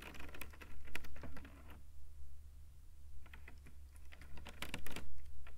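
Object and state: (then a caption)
Woven rattan cane panel. Fingertips behind a thin woven rattan cane panel with open holes tap and scratch rapidly across the weave. The result is quick, dry, clicky tapping in bursts, with a quieter, scratchier stretch in the middle, all over a steady low hum.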